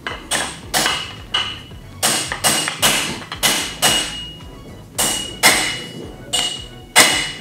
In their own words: When you hear a dull sound, you know that the crown race is correctly set.